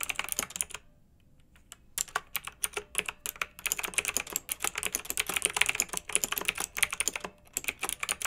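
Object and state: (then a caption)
Plastic mechanical keyboard being typed on. Both hands with long red nails type with their fingertips on a pink mechanical keyboard with round retro plastic keycaps, blue backlight and a hollow plastic case. Quick bright clacks come in bursts with short pauses. Each click is sharp and dies away almost at once, with very little low end.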